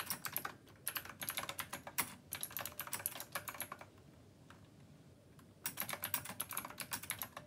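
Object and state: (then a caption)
Mechanical keyboard typing. Both hands type with their fingertips on a black plastic Rymek retro mechanical keyboard with round copper keycaps. Quick bursts of bright, crisp clicks run for almost four seconds and die away fast. After a quiet pause with a couple of faint taps, the rapid clacking starts again.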